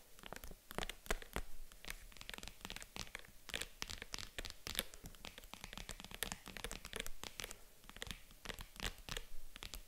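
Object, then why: Small padded faux-leather jewelry box. Long acrylic nails scratch and tap across the padded lid of a small, hollow, white faux-leather zippered jewelry box. The result is a dense, continuous run of quick, dry clicks and crinkly scratches with bright, papery edges over a soft low thump from the hollow box. Each touch dies away almost instantly.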